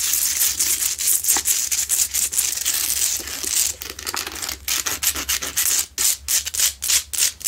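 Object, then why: Himalayan salt rock lamp. Long nails scratch vigorously at the sides of a lit, medium-sized Himalayan salt rock lamp made of solid, rough salt crystal. The result is a bright, hissing, gritty rasp that runs almost continuously at first, then breaks into quicker, choppier strokes separated by short silences.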